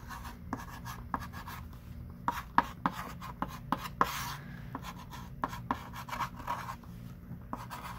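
A thick stick of pink chalk writes and underlines words on a small wooden-framed chalkboard lying flat, while the other hand rests flat on the board. Soft, scratchy rubbing strokes are punctuated by sharp chalk taps and brief squeaks around 950 Hz, with a longer, brighter scrape near the middle.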